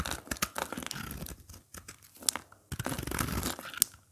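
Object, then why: Bar of soap being scraped with a blade. A craft blade repeatedly scrapes and cuts flakes off the face of a dry, brittle, solid red soap bar with a speckled surface, held in the hand, with the flakes piling up below. Dense crunchy, tearing scrapes come in bursts with brief pauses, dotted with sharp, bright clicks.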